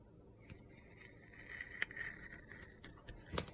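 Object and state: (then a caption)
Glitter-coated soap bar being carved. A utility knife cuts curled shavings from a solid orange soap bar with a purple glitter crust. Quiet gritty scraping carries a steady hiss-like band around 2 kHz. Four sharp, bright crunchy clicks stand out, the loudest near the end.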